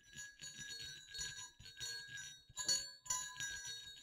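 Two small hollow silver metal jingle bells hang side by side on a cord and are shaken over black cloth. They give off bright, high jingling in short bursts with brief pauses between them. Each burst rings only briefly before fading.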